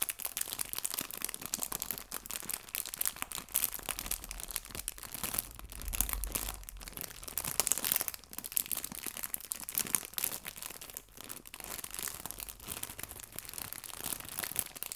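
A small clear cellophane bag full of artificial fabric maple leaves is crinkled and pressed with fingertips and red nails. Dense, bright plastic crackling runs continuously for the whole clip, with quick, sharp crunches and rustles that come too close together to count separately.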